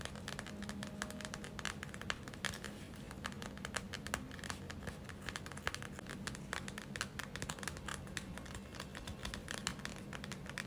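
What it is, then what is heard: Plastic gel eye mask. Long acrylic nails tap and scratch the front surface of a gel-filled plastic eye mask, making a dense run of quick, sharp clicks and crinkly scratching over a low, steady hum. The taps are short and bright with almost no ring, and they keep coming at an uneven pace throughout.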